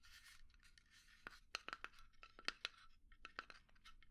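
A small hollow pine wood box resting on a palm is scratched and tapped with long nails. Soft, bright scratching rustles run through the clip, broken by sharp, short clicking taps with almost no ring.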